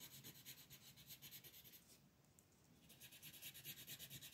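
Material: Paper.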